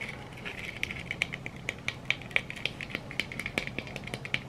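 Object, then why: Glitter-coated plastic egg. A yellow glitter-coated egg, likely hollow plastic, is tapped rapidly with long red nail tips from both hands. The result is a quick, uneven run of many short, dry clicks with a bright ring near 2.3 kHz, and some taps are sharper and louder than the rest.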